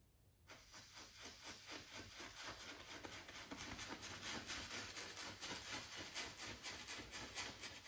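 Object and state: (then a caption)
Brush strokes on stretched canvas. A wide flat brush rubs in short strokes across a stretched cotton canvas on a wooden frame, set on an easel with a hollow space behind the fabric. After a brief quiet start, a quick, steady run of dry, bright, scratchy swishes follows, each with a slight papery rasp. The strokes grow a little louder and denser toward the end.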